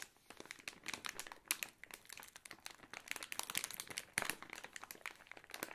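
A Katjes Saure Johannisbeeren gummy candy bag, made of thin crinkly plastic film and filled with candies, is held and squeezed by fingertips with long nails. The result is a dense, bright crinkling mixed with quick, sharp tapping clicks that continue throughout, with very little low end.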